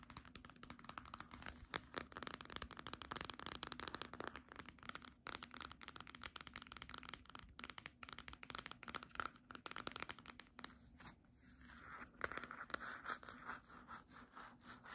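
A small green cloth-bound hardcover book has its back and front covers scratched and tapped with long nails. The result is a dense, quiet stream of quick, dry ticks and scratchy crackling that continues throughout, easing briefly about two-thirds of the way through.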